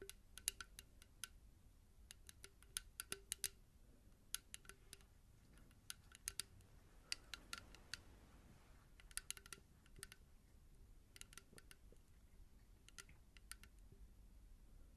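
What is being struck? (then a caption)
Small plastic bottle, partly filled with liquid. A small blue-tinted plastic bottle, partly filled with liquid, is held in the hands and tapped with long nails. Bursts of crisp, bright clicks come in quick clusters with short pauses between, each tap dying away almost at once over a low, quiet background hum.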